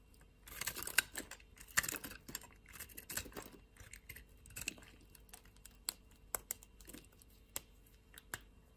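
A utility knife blade shaves flakes off a solid white bar of soap held between the fingers. The result is dry, bright scraping and crackling, in dense bursts at first and then in sharper, isolated clicks at an uneven pace.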